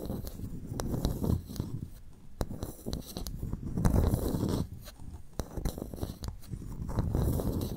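A pearl clam's shell is tapped and scratched before the clam is opened for pearl extraction. Dry, low scraping and rubbing run throughout, broken by quick, sharp taps that stop dead with no ring.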